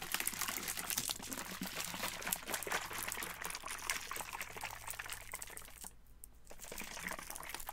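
A Vitaminwater-style plastic bottle of about 20 oz, hollow and partly filled with yellow-green liquid, is held in the hands, tapped and gripped with the fingertips, then swung and shaken so the liquid sloshes. Dense, bright, crackly plastic taps and rustles run almost continuously over a faint low steady hum, briefly dropping away to a near-silent gap around the sixth second before resuming.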